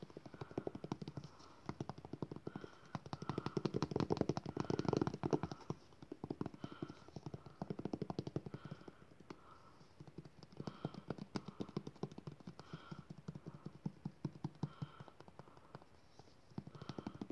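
A white, hand-sized, hollow squeezable plastic lotion tube, apparently partly filled, is held in one hand while the fingertips and nails of the other hand tap and scratch it quickly. The sound is a dense, continuous run of rapid, dry, hollow clicks and scratches with a low, muffled body. It swells louder around the middle, then settles back into steady bursts.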